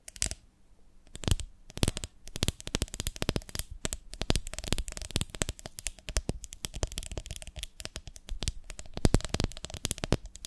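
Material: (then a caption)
Glass. Long nails tap and scratch the ridged sides of a medium, ribbed, beehive-shaped glass jar with a lid, full of honey. A rapid, uneven stream of dry clicks and scratchy rasps plays throughout, each tap short with no ring. The taps carry a low, dull body under brief bright edges.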